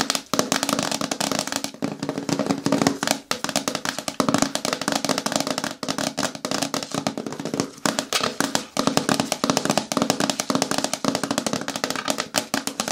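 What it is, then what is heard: Hard plastic bucket with lid. Fingernails tap rapidly and continuously on a hard plastic container bin, a bucket with a lid, for about thirteen seconds. The dense, crisp clicks carry a short, hollow plastic tone around 280 Hz with a bright edge and die away almost instantly. The pace dips briefly now and then before resuming.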